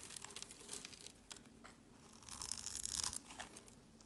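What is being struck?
Bar of soap.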